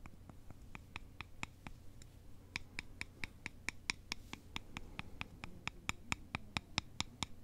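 Two thin, solid wooden sticks are held in a cross and rubbed and scratched against each other with both hands. This gives a run of about 29 short, dry, bright clicks at a loosely steady pace, a little over two per second, with a faint scratching texture between them. A low, quiet hum sits underneath.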